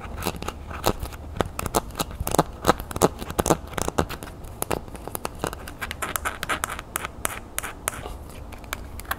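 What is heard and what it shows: Long nails tap and scratch the small, hollow, brown ridged plastic cap on top of an aerosol can. Fast, dry clicking taps are mixed with scratchy scraping over the ridges. Each tap dies away almost instantly, over a steady low background.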